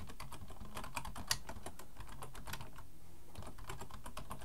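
Both hands type with their fingertips on a black plastic full-size computer keyboard resting on a wooden desk. There is a steady stream of quick, bright plastic key clicks over a low background rumble, with one sharper, louder clack about a third of the way in.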